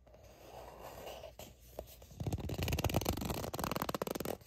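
Long nails quickly tap and scratch the label of a soft plastic sunscreen squeeze tube that appears filled. A quiet, hushed scraping opens the clip, then from about two seconds in a louder, dense flurry of rapid, dull plastic taps and scratches takes over until the end.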